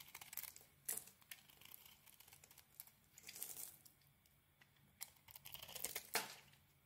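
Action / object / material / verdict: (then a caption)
scrape / bar of soap shaved with a small metal blade / soap / none. A small metal blade shaves and carves a solid, hand-sized cream bar of soap with remains of a gold coating. It makes quiet, crisp, bright scraping and crackling sounds in short bursts, with a few sharper snaps and longer rasping strokes.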